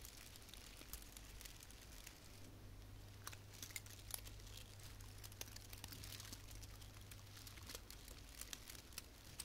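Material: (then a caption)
Plastic. Long painted fingernails rub and scratch a small frosted artificial fir branch with plastic needles, making a soft, steady crinkling and rustling. Sharp, bright ticks and scratches pop out at irregular moments over the quiet texture. A faint low hum runs underneath for most of the middle of the clip.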